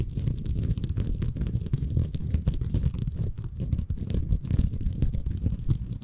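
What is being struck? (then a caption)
Bamboo fiber sponge. A small, soft, compressible green porous bamboo fiber sponge is held in both hands above a Tascam recorder while fingertips scratch and squeeze it. The result is a steady, dense stream of muffled, low, rumbling crackles and scrapes with almost no bright content, each tiny rustle dying away instantly.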